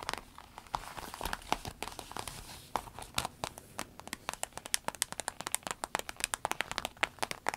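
Long acrylic nails tap and scratch the surface of an empty, small, flat, clear orange-tinted vinyl zip pencil case with a smiley print, while hands squeeze it. Quick, bright, dry clicks and crinkly scratches patter like rain, growing denser and sharper toward the end with almost no low end or ring.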